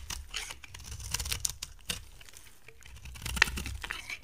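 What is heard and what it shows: A box cutter blade scrapes and carves flakes off the surface of a solid, dry, brown-gold coated bar of soap held in the hand. The result is a steady run of dry, crisp, bright scraping and crunchy crackling, broken by a few sharper clicks.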